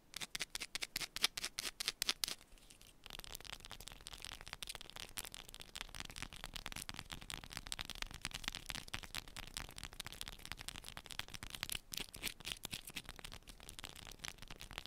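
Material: Soap.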